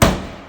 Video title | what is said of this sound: Latest reno job before work begins | this is all just drummy